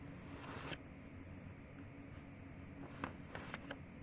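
A hand in a white cotton glove rubs the dry pages of an old handwritten notebook with diagrams and turns them over. A soft, crinkly paper rustle sits over a steady low hum, with a brighter swish early on and four short, sharp paper crackles toward the end.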